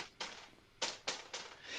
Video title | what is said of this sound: 10+ Gift Ideas You Need to Ask For This Year | when i tap on it it's plastic